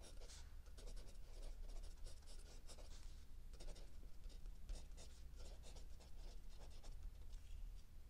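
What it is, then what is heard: Pencil writing on a notebook page. A mechanical pencil writes and scratches across a lined paper sheet of a spiral notebook while the hand holding the book stays still. Short bursts of bright, scratchy strokes come one after another over a steady low hum.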